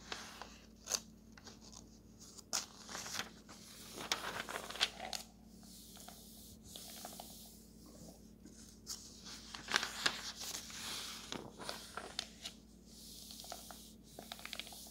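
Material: Paper.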